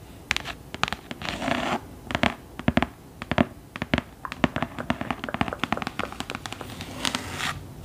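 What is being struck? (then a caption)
Hardcover book cover. Long nails scratch and tap the embossed front cover and inset medallion of a thick hardcover book lying flat. Quick, dry taps are heard between short, rasping scratching passes, with each tap dying away almost instantly.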